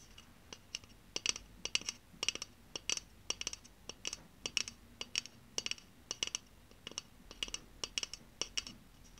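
A pink aluminium Ushuaia spray deodorant can, hollow and pressurized, is held in the hand and tapped and scratched with long painted nails. About thirty-four sharp, bright clicks come in an uneven quick run, each with a brief high metallic tinkle and almost no low end. The taps die away almost instantly over a faint, quiet background.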